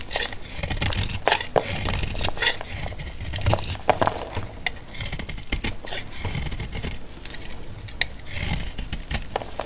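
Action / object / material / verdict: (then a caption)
scrape / bar of soap cut with a metal blade / soap / none. A solid, dry, pale green antibacterial soap bar held in the palm is sliced and scraped with a metal utility blade. The result is a steady stream of crisp, dry scraping and crackling cuts, with sharp bright clicks over a soft low rumble.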